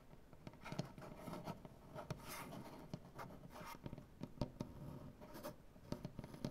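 Both hands scratch and tap with painted nails on a solid light wood butcher-block tabletop. Dry, quick taps with almost no ring punctuate a steady, quiet scratching texture that has some brief brighter bursts, while most of the energy sits low.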